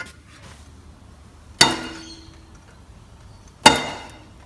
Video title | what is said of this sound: 2013 Jeep GC, Installing soundproofing under the seats/carpet | you can hear that that ringing effect is no longer there